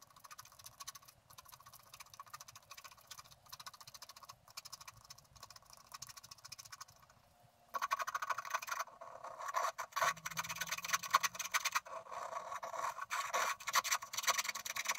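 A wooden stylus scratches the tree trunk area of a flat, thin sheet of black-coated scratch art paper while the other hand steadies the sheet. Soft, fine, rapid scratching runs for the first several seconds, then turns much louder and brighter, dense and gritty. From about ten seconds in, a faint steady low hum sits underneath.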